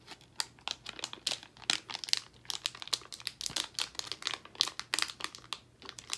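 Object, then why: Plastic foil candy bag. A full Albanese plastic foil gummy candy bag is handled and crinkled with the fingers while its top is worked open. The result is a dense run of sharp, bright crinkles and crackles that stop almost instantly, with little low end.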